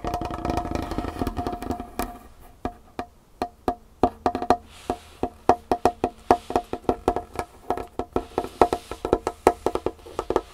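Rapid tapping with long fingernails of both hands on a large, solid, varnished wooden tabletop. The first two seconds are a dense, continuous patter. It then breaks into quick, dry, wood-block-like clicks with a mid-pitched knock and almost no ring.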